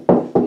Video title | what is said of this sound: How to Install a Recessed "In-the-Wall" Toilet Paper Holder / Dispenser | Sometimes you can tell by just the sound of tapping, so it sounds hollow here